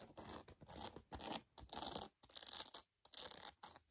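Long acrylic nails tap and scratch the leather upper and laces of a navy and white Nike high-top sneaker, which is hollow, empty and held in the hand, with a rubber sole. The clip is a run of bright, crisp bursts of scratching and tapping, set apart by short pauses.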